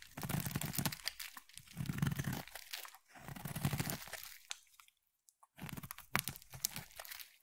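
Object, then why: Bar of soap cut with a blade. A utility knife blade is held against a solid purple oval bar of soap and carved through it, peeling off crunchy shavings. Dense, gritty crunching and scraping come in several passes with a low body and bright crackle, broken by short gaps and a near-silent pause before the carving resumes.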